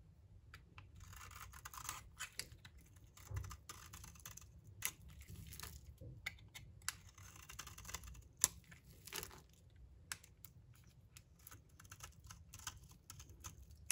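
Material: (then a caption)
Soap. A blade scrapes and cuts across the surface of a solid, rounded, purple-striped bar of dry soap held in the hand. The scraping is a dry, bright, crackly rasp, with about sixteen sharper clicks and snaps standing out over a low, quiet rumble.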